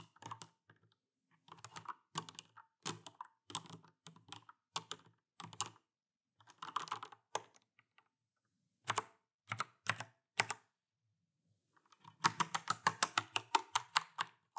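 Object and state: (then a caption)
Plastic mechanical keyboard. Both hands type steadily with their fingertips on an Alienware AW410K RGB mechanical keyboard with plastic keycaps and Cherry MX Brown switches. Short bursts of clacky key presses come with brief pauses between them, centered around 910 Hz with a bright edge. The clip ends in a denser, faster run of typing.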